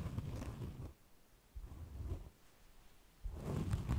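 A hand-sized, soft, solid white rectangular foam sponge is held in both hands and scratched and squeezed with fingertips and nails. Muffled, low-pitched rubbing and crackling come in bursts with quieter gaps between them, mostly deep rumble with almost no high-end hiss.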